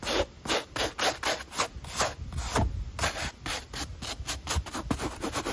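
A damp, wooden-backed brush with pale natural bristles scrubs the edge of the white textured foam midsole on a black Nike running shoe held in hand. About 15 quick back-and-forth strokes are heard, each a bright, hissy bristle rasp with a soft low thump underneath.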